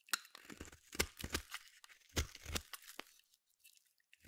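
A small metal blade shaves long flakes and curls off the end of a palm-sized solid blue bar of soap. Quiet, dry scraping and crunching strokes come in uneven bursts with bright crackly edges and soft low thumps, each dying away almost at once.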